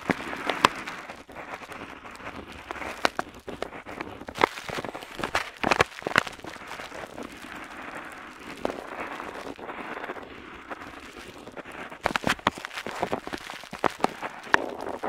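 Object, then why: Metal pen nib on paper sheet. An ornate metal dip pen nib scratches across a flat parchment-style paper map sheet while outlining hills. Dry, papery scratching comes in steady strokes with brief bright flicks and ticks, centered in the mids with almost no low end.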